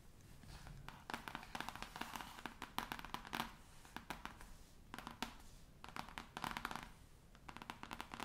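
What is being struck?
Cloth-covered hardcover book.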